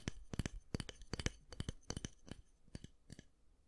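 Fingernails tap and click on the black-and-white plastic handle of a round styling brush and flick its bristles. The result is a rapid, uneven series of sharp, dry plastic clicks and scratchy flicks with a soft low thump beneath and bright edges. Each sound stops almost instantly, with quiet gaps between clusters.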